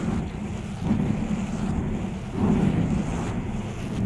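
Long acrylic nails and fingertips scratch and rub a fist-sized, soft, porous black foam windscreen covering a microphone. The result is a dense, muffled, wind-like rumble concentrated in the low range, with almost no bright content. It swells louder around the 1- and 2.5-second marks.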